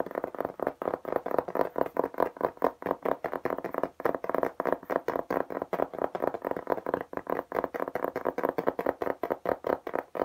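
Fingertips and nails tap fast on a flat beige textured plastic tablet case with an embossed geometric pattern, held upright in both hands. A rapid, steady stream of short, dry, clicky taps centered in the midrange, with almost no low end and no ringing after each tap.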